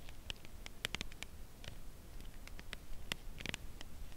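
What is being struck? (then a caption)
Cardboard box of a chocolate bar. Long press-on nails tap and lightly scratch the printed surface of a Lindt Caramel chocolate bar in its closed cardboard sleeve, held on edge in both hands. Quiet, irregular, dry clicks with a bright tick near 2.7 kHz die away almost instantly. Soft scratchy rustle and a low background rumble fill the gaps between them.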